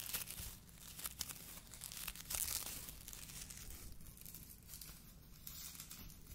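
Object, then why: Polyethylene foam mesh sleeve. A hollow white polyethylene foam fruit protection net, a mesh sleeve, is squeezed and crinkled with the fingers of both hands close to the microphone. Dense, bright crackling and soft tearing-like rustles come in quick bursts, loudest around the first and second seconds. A faint low hum sits underneath.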